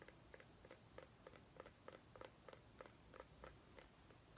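A small white ribbed mini pumpkin, held in both hands, is tapped and scratched with long nails. Soft, irregular hollow taps with a short ring around 500 Hz fall about three per second, each with a faint bright click, over quiet background hiss.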